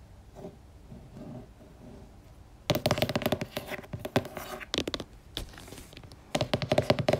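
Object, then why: Laminated cardboard board book. Long nails and fingertips tap on the cover of a purple laminated cardboard board book lying flat. The taps come in fast, dense bursts of sharp clicks, first softly, then louder from about 2.7 seconds, with a brief quieter stretch before a final burst.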